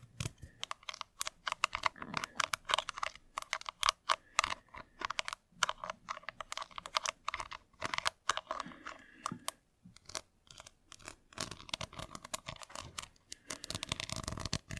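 Long grey nails and a thin wooden or bamboo stick scratch and tap across the gold glitter lid of a small square Revolution Pro eyeshadow palette, a hollow compact covered in clear rhinestones and faux pearls and held in one hand. The result is a dense run of quick, dry, bright clicks and scratchy ticks centred around 1.2 kHz, each dying away almost instantly. There are short pauses between bursts and very little low end.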